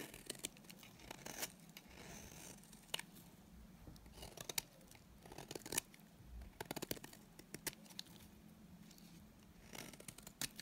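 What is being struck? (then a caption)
Bar of soap shaved with a knife blade. A solid, dry green bar of soap is held in the hand while its edge is shaved with a utility knife blade. The result is a quiet series of crisp, bright scraping strokes over a low, steady background hum.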